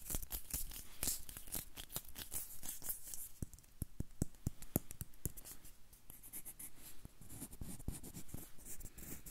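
Fingernails scratch the peel of a whole yellow banana held close to the mic. The result is a quiet, dense run of short, dry scratches and clicks with bright crackly edges over a low, soft rustle, and each stroke stops almost instantly.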